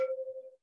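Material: Fired clay.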